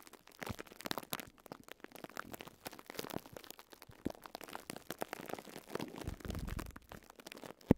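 Fingertips rub and scratch the crinkly wrap on top of a small pink and yellow sponge block wrapped in thin clear plastic cling film. The result is a quiet, dense stream of soft crackles and crinkles with muffled low rustling underneath. A sharp, louder pop lands just before the end.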